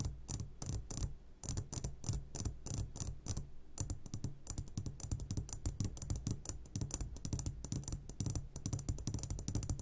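Fingertips tap rapidly on the sides of an upside-down clear glass jar full of hard candies. The result is a steady stream of quick, light clicks with bright glassy ticks over a constant low hum, each tap dying away almost at once.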